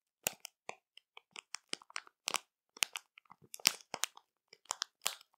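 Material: Plastic.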